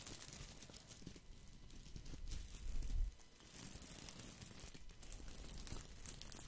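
Fingertips rub and scratch the dense plastic leaves of a small, solid, round artificial boxwood ball held close to the microphone. They make a continuous soft crinkling and scratching with rapid papery ticks and a low rumble that swells around the middle of the clip.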